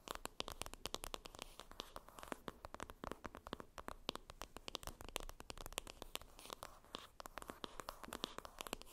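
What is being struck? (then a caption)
Cardboard makeup palette. A flat rectangular cardboard makeup palette, a Benefit Cheery Cheeks blush, lies on a fluffy surface while long red nails scratch and tap its printed cardboard lid. Dense, rapid dry clicks and scratchy rasps run throughout, with many sharp tap transients over a continuous papery scraping texture.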